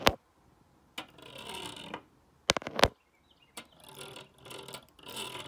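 A black stone face roller is rolled by hand over the teeth of a solid black plastic hair comb lying flat on a wooden desk. Sharp knocks mark each start, followed by stretches of rapid, dry, ratchet-like clicking that sound bright and papery. Brief silences separate the passes.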